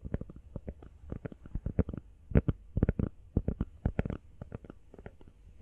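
A small, hollow, empty teal rubber phone case is tapped rapidly with long nails. The result is 27 quick, dull, low-pitched taps in uneven bursts, each dying away almost instantly with no ring.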